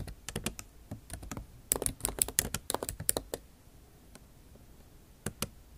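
Long nail tips type on a backlit MacBook Pro keyboard with plastic keycaps set in an aluminum body. A quick run of sharp, bright clicks and taps goes on for about three and a half seconds, falls quiet, then two last clicks sound near the end.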